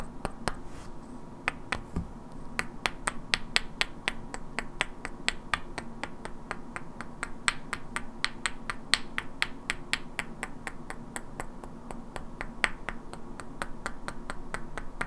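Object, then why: Two solid wooden blocks. Two identical hand-sized solid wooden cubes with black painted characters are held in both hands and knocked and clicked against each other, while long natural nails also tap their edges. About fifty sharp, dry, bright clicks land at an uneven, fairly quick pace with almost no ring, over a quiet steady low hum.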